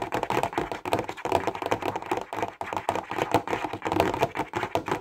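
A clear plastic box full of highlighters is tapped quickly with the fingertips and nails. It makes a rapid, continuous run of short, dry plastic clicks and taps centred in the mid range, each dying away almost at once.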